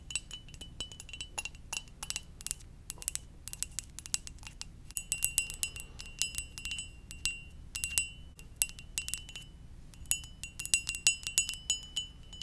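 A ceramic mug shaped like a Poké Ball is tapped gently and irregularly, each light tap giving a short, bright, glassy chime-like clink with a steady ringing tone near 2.7 kHz. The taps come in loose clusters over a quiet low background hum.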